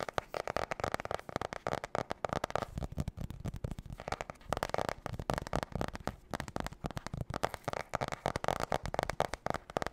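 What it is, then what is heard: Spiral notebook cardboard cover. Fingernails rapidly tap and scratch the glossy marbled cardboard cover of a spiral notebook held upright. The result is a dense, continuous stream of short, dry clicks and scrapes centered in the midrange, with almost no ring after each hit.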